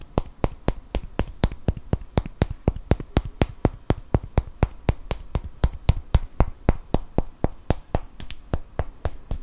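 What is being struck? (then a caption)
Cork wine stopper. A small solid cork wine stopper is held in one hand and tapped and scratched with the fingernails of the other. It gives 41 short, dry, sharp clicks at a quick, fairly even pace of about four per second. Each click dies away almost instantly, with faint scratching between them.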